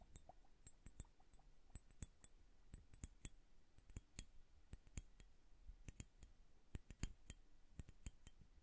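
Long nails tap the glass bulbs of a liquid-filled bubble hourglass tilted sideways, making a quiet, irregular run of about 27 short, bright clicks. Each click dies away almost at once over a soft low rumble.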